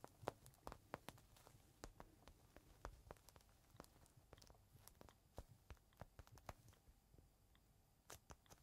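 Fingertips scratch and tap the surface of a small clear plastic bag holding a folded green microfiber cloth, which rests on a palm. The result is a quiet, irregular stream of sharp crinkly ticks and taps over a soft rustling bed, with brief crackles that fade almost instantly.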